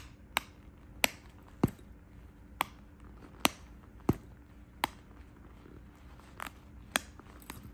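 A medium pink quilted faux leather Guess handbag, hollow and soft-sided with a gold metal chain strap, sits on a bed while fingertips and nails tap and rub its front flap and quilted panels. About ten sharp, dry taps sound at uneven intervals, each with a bright click and almost no ring, over a faint low hum and soft rubbing in between.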